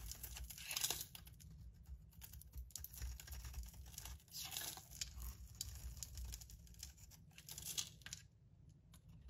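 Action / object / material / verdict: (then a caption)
scrape / soap bar with foil surface / soap / none. A metal blade scrapes the gold-foil-covered stamped surface off a solid white Marseille soap bar held in the hand. The result is a quiet run of dry, crisp scraping and crumbling with bright, gritty texture, broken into short bursts over a low rumble.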